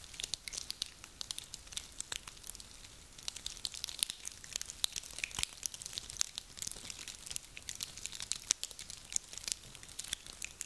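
Small dry pine cones are held in both cupped hands and crushed and rubbed together with the fingers, so their woody scales crinkle against each other. A steady, dense crackle of sharp, bright snaps and clicks runs for about eleven seconds, with almost no low end and each snap dying out instantly.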